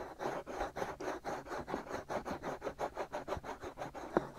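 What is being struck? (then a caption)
Silicone microphone ear shell. Both hands scratch the hollow white silicone ear shells of a binaural microphone with short nails and fingertips, with some rubbing mixed in. About seventeen quick, dry scratching strokes come in a steady rhythm, each a soft midrange rasp. A sharper, louder scrape lands near the end.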